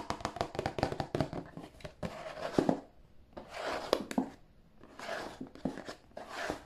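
Fingernails tap and scratch the sides and bottom of a hollow, glossy printed cardboard tissue box. A quick run of crisp, dry, hollow taps gives way to bright, papery scratching swishes broken by occasional sharper taps, each sound dying away almost instantly.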